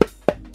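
Three quick knocks on a vinyl Funko Pop building, each a short, hollow, mid-pitched tock that dies away almost at once. The knocks reveal that the building is hollow.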